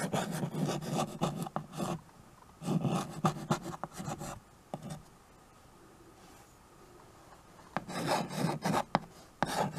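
A stick of white chalk scratches across the dark surface of a small, flat chalkboard in a wooden frame while cursive names are written on it. Bursts of dry, raspy chalk strokes with a low body and a bright scratchy edge come in three clusters, with quiet pauses between them.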